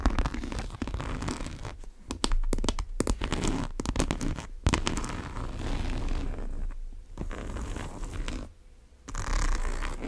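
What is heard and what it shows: Long nails work the top zipper of a large brown monogram coated-canvas tote and scratch across its canvas. Dense, rapid scratchy rasps and zipper pulls run through the clip, dull and low-heavy, broken by brief pauses.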